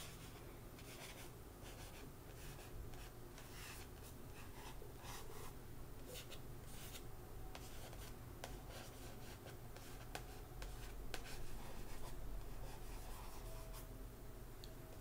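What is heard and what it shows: Fingertips and nails slowly scratch and rub the card cover of a softcover graphic novel, Beautiful Darkness, lying flat on a rug. The result is a quiet, continuous dry scratching and rubbing, with faint brighter scrapes over a steady low background rumble.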